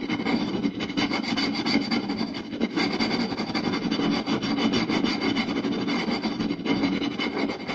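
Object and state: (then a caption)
Wooden plate. Fingertips and short nails of two hands scratch the lower part of a round, solid wooden plate with a groove around its rim. The result is a fast, continuous dry rasping that holds a steady level for the whole clip, with a body centered near 280 Hz and bright scratchy grain up high.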